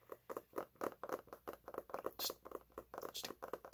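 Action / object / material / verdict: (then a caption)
tap / hardcover book with laminated cover / laminated cardboard / none. Fingernails tap and scratch the glossy laminated front cover of a large, solid, closed hardcover paper cookbook held upright. About seventeen quick, dry, irregular taps are heard, with a mid-range papery knock and occasional brighter scratchy swipes. Each one stops dead with no ring.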